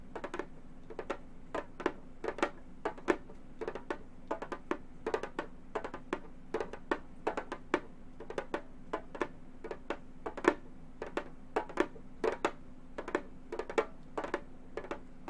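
Gold metal claw nails tap rapidly on a hollow frame drum with a synthetic head. Dozens of short, dry taps land in quick, irregular bursts, each with a bright click over a hollow tone near 344 Hz that dies away almost at once. A faint steady low hum sits underneath throughout.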